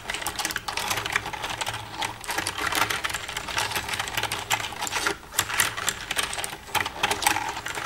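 Long red-painted nails tap and type across the keys of a black plastic desktop computer keyboard with a hollow casing, using both hands. The result is a dense, rapid stream of short, bright plastic clicks and clacks centred around 2 kHz, each dying away almost instantly, with brief lulls just after the five-second mark and near the end.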